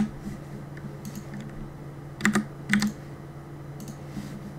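Fingertips type quickly on a black mechanical keyboard with plastic keycaps, producing sparse clicky taps over a low steady hum. Two louder clusters of key strikes stand out near the middle, with bright clacks that die away quickly.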